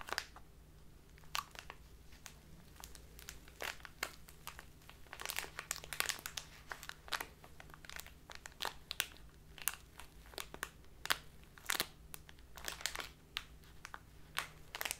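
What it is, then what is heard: Plastic bag of loose tea. Hands with long nails squeeze and crinkle a full plastic bag of dark loose tea with a white label. A steady stream of bright, sharp crackles and crinkles comes in irregular bursts over a faint low hum.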